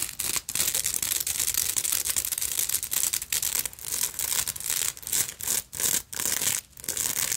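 Long nails scratch and tap a black beaded purse, first along its silver metal clasp frame and then across its beaded front. The sound is a dense, bright scratching with quick tapping bursts, broken by short pauses.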